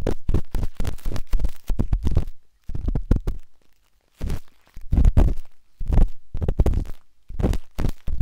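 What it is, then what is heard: Silicone microphone ear scraped with dot stick. A metal-tipped dot stick with a wooden handle scratches inside the soft, hollow canal of a pinkish-white silicone binaural microphone ear. Dense bursts of muffled, low rumbling scrapes and thumps come in clusters separated by brief silent pauses.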